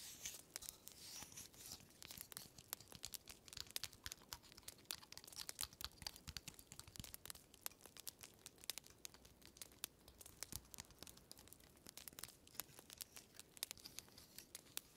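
A small, solid, woody dry pine cone with open scales is held in one hand while fingertips and nails scratch and rub across its scales. The result is a quiet, dense stream of crisp, bright scratching and rapid dry clicks with very little low end, continuing irregularly throughout.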